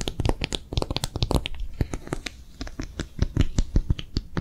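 A hollow, empty pink soft silicone phone case with a bumpy piggy character pattern is held in both hands and tapped and scratched quickly with long manicured nails. The result is a steady stream of soft, dull low thumps with short, bright clicks and scratchy rustles, each dying away almost instantly.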